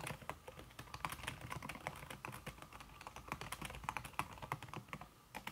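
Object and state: Typing on a keyboard with a silicone key cover.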